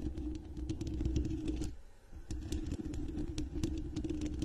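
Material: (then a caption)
Fabric. Long red nails scratch and tap a medium-sized microphone with a dark knit mesh fabric cover held close, making a dense, muffled, low scratching rumble with quick soft taps. The sound dips into a brief near-silence at the midpoint, then the scratching resumes as before.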